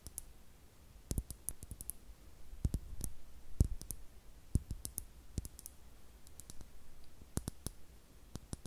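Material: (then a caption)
Glass. Long nails tap a small, hollow, clear glass star-shaped bottle with a cork stopper, apparently empty. The taps come as sharp, dry clicks in an irregular series, each very short with a bright top and a faint low thump. Faint background hiss fills the gaps.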